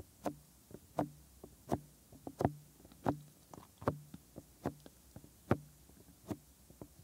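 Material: Silicone.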